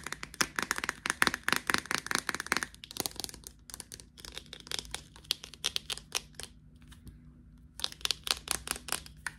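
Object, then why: Plastic deodorant stick container. Fingertips and nails tap and scratch the body and cap of a small clear plastic deodorant stick held in the hands. Rapid, bright, crackly taps come in dense bursts with scratchy rustling between them. There are brief lulls around the middle and another quiet stretch near the end before the tapping picks back up.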